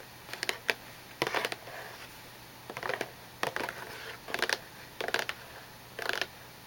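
Long nails tap the top of a small, hollow, glossy cardboard tissue box, with some handling near its plastic-lined opening. Short, bright clicks come in quick clusters separated by quiet gaps, each one dry with almost no ring.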